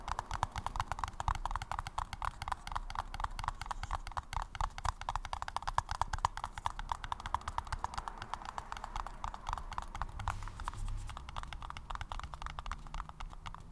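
A paper cup is tapped rapidly and continuously for about 14 seconds. The taps are hollow and clip-clop-like, with a bright tone around 1 kHz over a soft low thump. The pace stays steady, with no other sounds.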